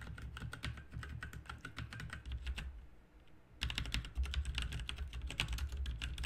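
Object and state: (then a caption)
Mechanical keyboard typing. Both hands type fast with fingertips on a full-size backlit RGB mechanical computer keyboard with plastic keycaps resting on a desk. Quick, uneven runs of bright, short clacks ride over a deep low thump. The typing pauses briefly near the middle and then resumes at full pace.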